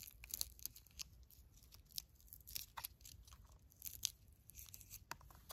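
Long black nails poke, grab and crunch popped popcorn in a clear plastic tub full of popcorn. The result is a quiet run of sharp, bright crackles and crinkly rustles with almost no low end, each snap dying away instantly.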